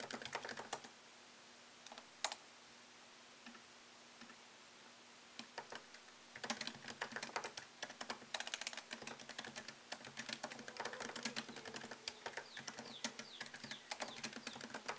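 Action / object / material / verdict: tap / laptop keyboard with plastic keys in an aluminium body / plastic / none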